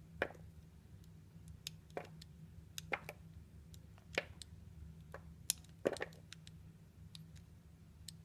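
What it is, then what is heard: Glycerin soap being cut. A metal utility blade cuts and scrapes a small, solid, translucent orange glycerin soap cube held between the fingers. Short, dry slicing clicks and crisp scraping crackles with bright high edges come at irregular intervals, each dying away almost instantly over a quiet low hum.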